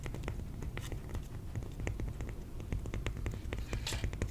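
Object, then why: Piece of cork. A piece of cork is tapped in a steady stream of soft, quick taps, each a short dull click with a brief bright tick and almost no ring. A low rumble sits underneath throughout, and the taps run continuously through the whole clip.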